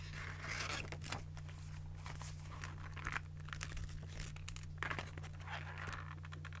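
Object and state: Paper spiral notebook.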